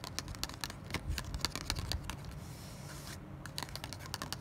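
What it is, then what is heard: Cardboard tag. A small, thin kraft cardboard tag is held in the hand and scratched and tapped with long black nails, making a quick run of dry, bright clicks and scrapes over a low background rumble. A brief stretch of softer scratching comes midway before the sharp taps pick up again.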